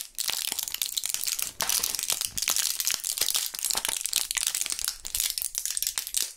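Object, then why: Plastic and foil blister pack. Gloved fingertips flex and press a small clear plastic blister pack of Thrills gum with foil backing, still partly full with several purple gum pellets. Dense, bright crinkling and crushing crackles follow one another almost continuously, with very little low end and no ringing after each crackle.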